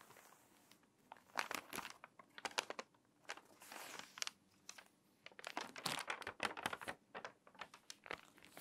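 Long nails scratch the pages of an open, crinkly, water-damaged paper magazine, then hands turn a page and press the spine flat. Dry, bright crinkling and scratching come in quick bursts with near-silent gaps, and the sharp sounds stop almost instantly with no ring.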